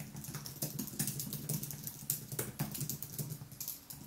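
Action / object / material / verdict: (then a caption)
tap / aluminium-framed keyboard with plastic keys / plastic / none. Fingertips type continuously on a thin aluminium wireless keyboard with white plastic keys, set in front of a monitor. A steady stream of quick, soft clicks and taps blends into a dense patter, with occasional sharper, brighter key strikes over a low, muted thump from the board.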